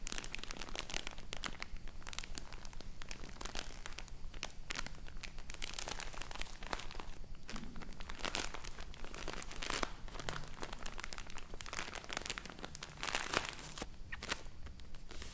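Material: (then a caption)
Plastic film. A full roll of cotton wool in crinkly plastic packaging is squeezed in the hands, then laid on a table while long nails scratch and tap across its plastic top. The result is a dense, steady stream of bright crinkling and crackling with quick, dry taps that die away almost instantly.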